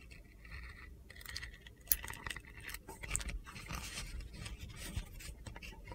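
A handheld solid red glitter soap bar with gold stars is carved with a utility knife, scraping off layers of soap. Dry, gritty scraping and crunchy cuts come in uneven bursts with bright, high-pitched crackle, over a steady low background rumble. A few sharper crunches stand out before the scraping settles into a continuous rasp.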